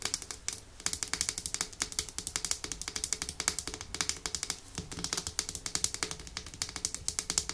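Long nails tap and scratch rapidly on a small, full, pink-red glass nail polish bottle with a white plastic cap. The result is a steady run of quick, bright clicks with short scraping strokes between them. Each tap dies away almost instantly, with very little low end.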